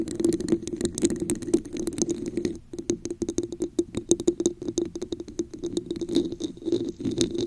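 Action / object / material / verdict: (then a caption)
tap / textured plastic cup / plastic / none. A hollow, translucent red plastic cup with a raised diamond texture sits upside down over a microphone and is tapped and scratched with long acrylic nails. Quick, dense clicks and scratchy rasps ring with a hollow, boxy tone around 344 Hz, pausing briefly near the middle before resuming in a steady patter.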